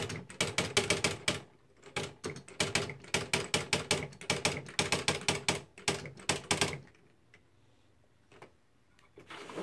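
Both hands' fingertips type fast on the plastic keys of a beige, plastic-bodied Smith-Corona Mark V electric typewriter with paper loaded in its hollow housing. Rapid, bright clacking taps mix with the internal strike mechanism and a hollow resonance around 400 Hz. The typing runs for about seven seconds, then stops, leaving near silence with a few faint clicks before a low rise of noise at the end.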